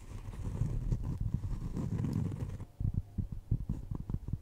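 A solid, round, flat cork trivet is tapped and scratched with long nails across its edge and face. A low, dull scratching rustle runs for the first couple of seconds, then gives way to soft, muffled taps with a quick deadened decay.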